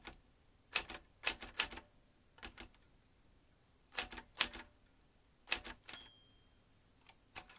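Fingertips tap the keys of a vintage metal manual typewriter while its carriage moves across. Bursts of sharp, bright key strikes come in short clusters separated by pauses. Near the end a clear, high ringing tone sounds and fades before a couple more taps.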